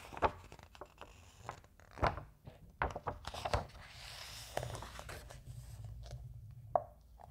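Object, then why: Thin glossy paper magazine. A thin glossy softcover magazine is handled as fingertips and a palm rub along a page, then the fingers lift and turn the pages. Short papery slaps and crinkles stand out over a soft, steady brushing hiss.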